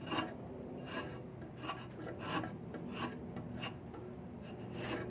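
A wooden-handled chisel scrapes along the surface of a long, solid diamond willow walking stick. Repeated rasping strokes, each a short bright burst over a steady low rumble, recur about every 0.6 seconds, with three louder peaks standing out.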